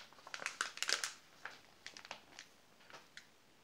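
A flat hand presses and rubs the pages of an open glossy paper magazine, and fingertips sweep over the spread between page turns. A dense burst of crisp, bright rustling and crinkling fills the first second, then scattered short swishes follow. Each dry sound fades almost at once over a quiet background.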